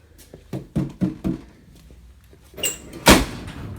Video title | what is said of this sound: Studebaker Pickup Rat Rod Build Part 29 | when the door shuts it sounds solid so that's no longer an issue